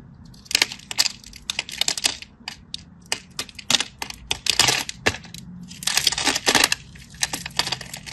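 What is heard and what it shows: A solid teal-and-white striped bar of soap, held in the hand, is scratched and cut with a craft knife. Clusters of short, bright, crisp scraping crackles come in quick bursts, with brief quiet gaps between strokes and almost no low end.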